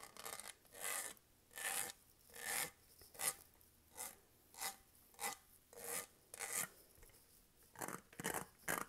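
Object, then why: Studded plastic tumbler. Fingernails scratch and rub the studs of a matte dark-green Starbucks tumbler made of hollow plastic with a studded surface, held upright with its lid and straw on, and the straw is briefly touched. Short, bright, raspy scratching strokes repeat in a steady rhythm, separated by near-silent gaps, with almost no low end.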